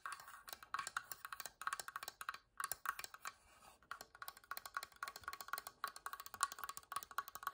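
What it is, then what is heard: Wooden box. A wooden box is tapped rapidly with fingers and scratched, giving quick, dry, wood-block-like knocks centred around 1.1 kHz with little low end. Dozens of short, closely spaced clicks come in uneven bursts, each dying away almost instantly, with brief pauses between runs.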